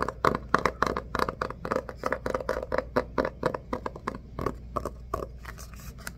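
A red hardcover book is held in both hands and tapped and scratched with the fingertips on its cover and edges. A rapid, uneven run of short, dry taps with a hollow midrange knock is mixed with soft scratching, each tap dying away almost at once. A faint steady low hum sits underneath throughout.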